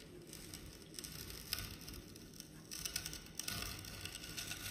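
A multi-tine stainless steel comb tool is dragged through a solid, flat rectangular slab of yellow kinetic sand resting on a white surface, raking grooves into it. The result is a quiet, continuous gritty scratching and crackling with a bright, hissy texture over a soft low rumble, growing slightly louder in the second half.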